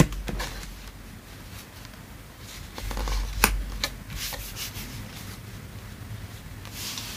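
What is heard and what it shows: Fingertips rub and slide across a flat, thin printed cardboard play mat, the floor mat of a playset, lying on a dark surface. Soft, dry papery rubbing continues over a low background hum. Around the middle it swells into a louder scrape with one sharp, bright tick, then settles back to quiet brushing.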